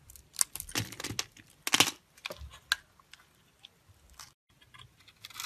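A metal blade scrapes a solid, hand-sized green bar of soap held in the palm and scored into a grid, so small soap cubes crumble off. The result is a quiet series of short, crisp, bright crunching and scraping bursts with almost no low end, each fading almost instantly, separated by brief near-silent gaps.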